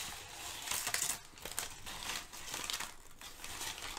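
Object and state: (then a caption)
Crumpled kraft paper. Thin sheets of crumpled brown kraft packing paper are crinkled and shifted with fingertips and nails. The result is a steady stream of bright, papery crackling with little low end, rising in louder bursts of sharper crinkles.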